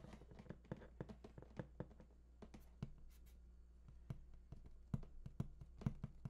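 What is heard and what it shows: Fingertips scratch and tap the lower front face of a large, hollow, printed cardboard PS4 console box. The result is quiet, irregular, dull low thuds with very short decay, mixed with soft scratching between the taps.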